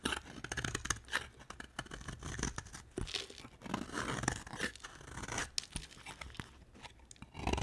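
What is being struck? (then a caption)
Soap bar scraped with a blade. A dry, solid cream bar of soap, held in a hand with long black nails, is scraped with a utility knife blade, and thin shavings come off. The result is a steady run of dry, crunchy scraping strokes with a bright, papery rasp over a low rumble, and the scraping swells louder in the final moment.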